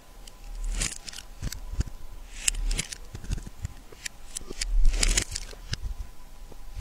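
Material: Soap.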